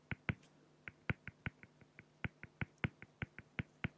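A fine-tip pen makes short, scratchy drawing strokes on a flat, solid acrylic glass (plexiglass) sheet, producing 18 quick, distinct taps over about four seconds. Each stroke is a crisp, very brief tick with weight in the low end and a bright edge that dies away almost instantly. A faint steady low hum sits underneath.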